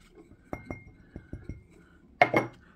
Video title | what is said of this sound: The Best Solar LED Pathway Lights HSDJLXZ Solar (EPISODE 4091) Amazon Unboxing Video | hear that sounds like glass